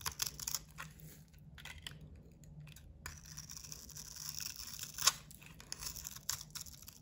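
A metal utility knife blade shaves flat across a solid, hand-sized bar of soap with a blue painted, glittery coating. The quiet, bright scraping and crackling comes in short bursts, with one sharper, louder crack near the five-second mark.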